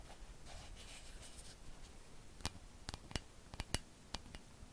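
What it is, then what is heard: Plastic cloud lamp tapped with nails. A pink, hand-sized, hollow plastic cloud-shaped night light with a face is held in both hands and scratched, then tapped, with long acrylic nails. Soft, bright scratching fills the first couple of seconds, followed by about eight sharp, dry clicks that stop instantly over a quiet low background hum.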